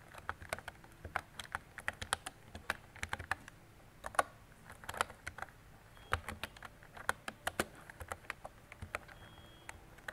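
A mint-green retro mechanical keyboard with round plastic keycaps and a hollow body is typed on with fingertips and long decorated nails. Irregular bursts of sharp, hollow plastic clacks, centered around 1 kHz, die away almost instantly over a faint low background hum.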